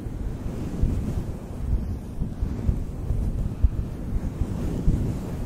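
Fingertips rub and stroke a synthetic faux fur windscreen on a black microphone from both sides. The result is a continuous, muffled, low rumbling brush that sounds wind-like, with small soft bumps and almost no high content.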